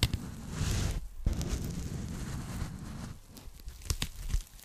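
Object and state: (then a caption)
Foam packing sleeve. A thin, flat, hollow pink foam packing sleeve is held in both hands and tapped and scratched with long nails. The result is a soft, low, crinkly rustling that drops out briefly near the one-second mark. Sharp, bright taps stand out toward the end.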